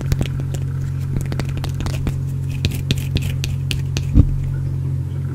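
Fingernails scratch a small, solid, partly carved green bar of soap close to the microphone. Short, dry, crackly scrapes and bright clicks come in quick succession over a steady low hum, with one louder scratch near the end.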